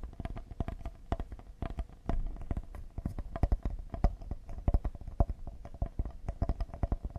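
Fingertips tap quickly and lightly on the face and side edge of a solid cedar serving board. The taps come as a dense, uneven run of short, dull, woody knocks with deep low thump, a faint hollow tone around 600–700 Hz, and almost no ring after each hit.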